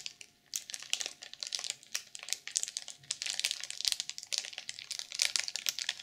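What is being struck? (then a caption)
Sequin-covered journal wrapped in plastic film. Long purple nails tap and scratch the cover of a black sequin journal sealed in clear plastic film. It makes a dense stream of bright, crinkly scratches and quick ticking taps with almost no low end. Each sound stops almost instantly, with no ringing.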